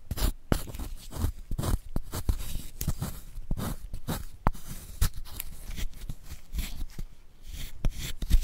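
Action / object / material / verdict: scrape / magnesium carbonate chalk block scraped with a wooden spoon / chalk / none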